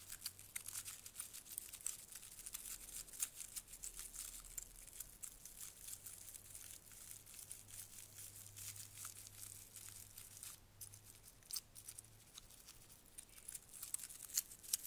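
A small sprig of dried white flowers with green stems is held up while fingertips and nails rub and crinkle the petals and stems. The sound is a quiet, dry, bright crinkling and crackling with irregular sharp ticks throughout. A faint low hum sits underneath.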